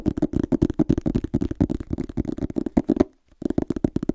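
Fingertips and nails scratch and tap rapidly on the front cover of a small, solid red illustrated hardcover book held upright. The result is a dense run of dull, close knocks with a low-mid body and scratchy upper detail. There is a brief silence just after three seconds before the tapping resumes.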